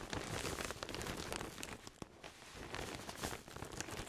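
A large soft pillow sealed in a thin clear plastic bag is held against the chest while fingertips and a palm rub and press the plastic. It makes a steady, dense crinkling with bright, crackly texture over a soft low rumble, with a brief quieter lull midway before the crinkling picks up again.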